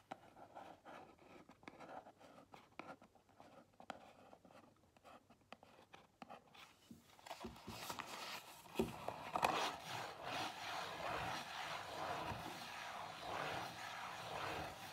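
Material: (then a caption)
Cardboard. Long nails tap lightly on a small, closed Zara cardboard perfume box, first held in the hands and then set on a table, making sparse, quiet, dry taps. About halfway through, the nails switch to steady scratching across the box's surface, producing a louder, continuous, bright papery rasp.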